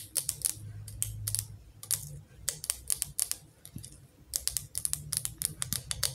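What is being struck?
Glass candle tumbler with metal lid, tapped with fingernails.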